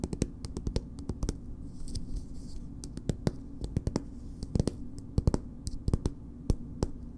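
Long nails scratch and tap on a soft, filled green plastic BB cream squeeze tube. A quick, irregular run of short, dry clicks and light scratches sits over a steady low hum, each tap dying away almost instantly.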